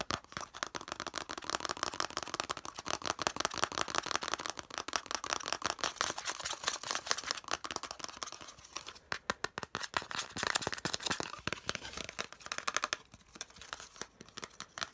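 Fingernails rapidly scratch and tap the flat face of a hollow molded yellow plastic piece. The result is a dense, fast stream of short, dry clicks and scratchy rasps, bright and mostly high, with almost no low end or ring. It continues with slight pauses and bursts of intensity throughout.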